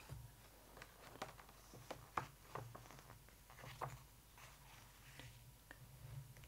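Long nails on both hands tap and scratch across the glossy photo pages of an open hardcover photo book, making a series of quiet, sharp clicks and dry scratches over a low, steady hum. A page is lifted, adding a soft papery rustle.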